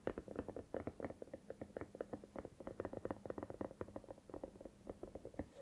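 Long nails tap and scratch the rubbery surface of a hollow, soft silicone cat night lamp that is tilted and held in the hands. A quick, steady run of soft, muffled taps with a hollow, dull tone carries faint scratchy texture in between. Each tap dies away almost at once, with little deep bass and no bright highs.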